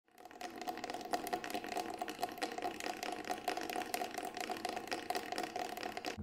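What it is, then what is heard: Synthetic frame drum shell. A large, round, hollow Remo Buffalo frame drum with a grey, fabric-textured synthetic shell is held upright in both hands while fingertips rapidly tap and scratch the side of the shell. The result is a dense, continuous stream of quick, dry taps and scratchy rustle with a steady ringing tone around 730 Hz and little low end.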